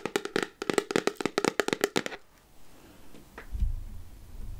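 Long nails tap the black plastic lid of a clear plastic candy jar full of chocolates, making a quick run of about sixteen sharp, dry clicks with a hollow plastic tone and almost no ring. After about two seconds the tapping stops, leaving only faint rustling and a soft low rumble.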